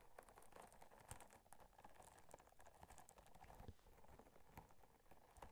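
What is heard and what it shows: Long nails scratch and tap the bumpy surface of a small pink textured silicone or rubber scrubber held up beside the microphone. The result is a quiet, dense patter of soft clicks and scratchy rustles with low thumps underneath and bright ticks on top. Each tap dies away instantly.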